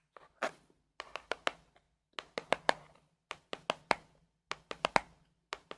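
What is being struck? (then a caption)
Small printed cardboard box. A small, hollow printed cardboard gift box from a Harry Potter advent calendar (day 2, sweater print), likely holding a small item, is held in both hands and tapped and scratched with long acrylic nails on its top and sides. About twenty short, dry, hollow taps with bright clicky edges come in quick clusters of three to five. Each dies away almost instantly, with faint scratching between some of them.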